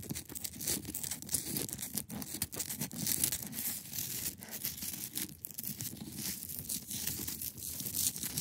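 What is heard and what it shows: Long acrylic nails scratch across a large, solid, clear ice block, producing a continuous bright, rasping scrape with dense crackly texture. Quick strokes blend together without clear pauses, over a soft low body of sound that stays steady throughout.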